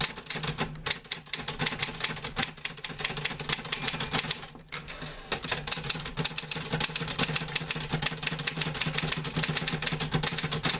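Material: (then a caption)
Metal. Fingertips type steadily on the keys of a green-grey metal portable manual typewriter with paper loaded, producing rapid, bright, dry clacks over a faint low hum. There is a short pause just before the midpoint, then the typing resumes at the same brisk pace.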